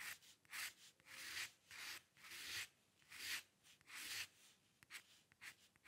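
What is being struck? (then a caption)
Paper sheet under a metal pen nib. A dip pen's metal nib scratches hair strokes across a sheet of flat white drawing paper, close up. The strokes come in a series of bright, dry, hissy bursts with quiet gaps between them, at an uneven rhythm and with almost no low end.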